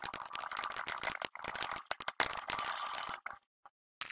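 A plastic RGB-backlit computer keyboard with hollow plastic keycaps on a solid base is typed on rapidly by the fingertips of both hands across the board. The result is a dense, uneven run of bright, dry clicks and clacks with brief pauses. It breaks into near silence at the end before a final burst of keys.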